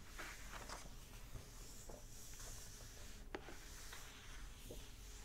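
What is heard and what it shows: Flat fingers with short nails rub and tap the paper pages of an open hardback book. The result is a quiet, continuous dry rustle with a bright papery hiss and a few faint, soft taps scattered throughout.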